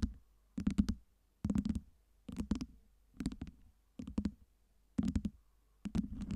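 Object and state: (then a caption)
Acrylic LED ice cubes tapped and scratched. Long nails scratch and tap a tower of small, solid, clear acrylic light-up LED ice cubes, rearranging them. Seven short bursts of quick, dry clicks and scrapes come about a second apart, each with a low, hollow knock underneath and no ring after.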